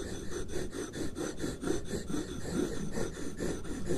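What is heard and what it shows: Two wooden stick tools slowly trace and rub over a single sheet of white paper lying flat on a wooden desk. The result is a soft, steady papery rubbing and scraping that swells and fades in repeated strokes about every half second, full-bodied in the low-mids with faint high hiss.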